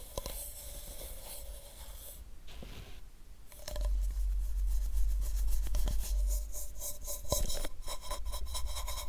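A makeup brush brushes and rubs a hollow white plastic supplement pill bottle with a paper label close to the microphone. Soft, raspy scratching strokes come in quick, uneven repeats over a low rumble. They pause briefly after about two seconds, then return louder and denser with bright, crisp edges.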